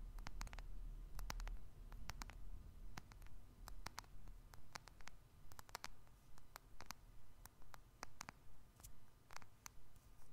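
Fingernails and fingertips tap on the glass screen and back of a small, solid black smartphone with a metal frame, held in both hands above the microphone. Quiet, crisp clicks with a bright edge repeat at a fairly steady pace of a little over two per second, over a soft low rumble.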